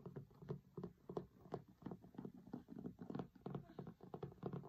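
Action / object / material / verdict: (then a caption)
tap / linen cloth-covered hardcover book / cloth, board / none. Fingertips and short nails scratch and tap the grey linen cloth cover and photo area of a large closed hardcover cookbook lying flat on a table. A quick, uneven run of soft, dull taps is heard, with short scratchy bursts between them. The sound stays low and muffled with almost no ring.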